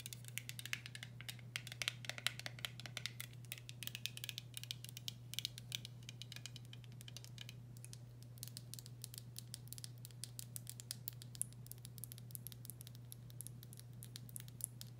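Long nails rapidly tap and scratch the top of a blue metal screw lid on a full glass pickle jar. Dense, bright clicks and scrapes come in quick bursts over a steady low hum. The taps are short and dry, with no ringing after each one.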